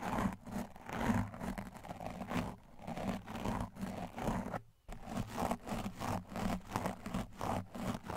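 A stiff blue plastic-bristled tile scrub brush with a white handle is brushed fast across a large, soft, porous black foam windscreen on a microphone. The rapid, repeated scratchy strokes sound muffled and dull, with a deep rumbling body and little brightness. There is a brief pause near the middle before the brushing resumes.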